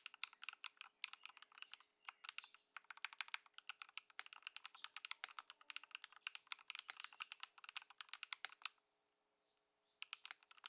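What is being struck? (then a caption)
Mechanical keyboard with plastic keycaps. A compact Ducky One 2 SF mechanical keyboard, modded with Lumia Matcha switches and Poron foam and fitted with white plastic keycaps, is typed on continuously with the fingertips of both hands on a wooden desk. Dense, bright, short clacky keystrokes with quick, dry decay run over a faint steady low hum. The typing stops briefly near the end, then resumes.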